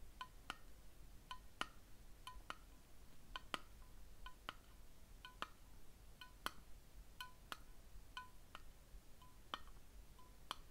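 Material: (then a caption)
Ceramic. A small patterned ceramic candle jar with a lid, held in the hands, is tapped with fingernails, producing about twenty quiet, sharp clinking hits at irregular intervals. Each hit is a bright tick with a faint ring near 1.2 kHz that dies away almost instantly over a low, steady background rumble.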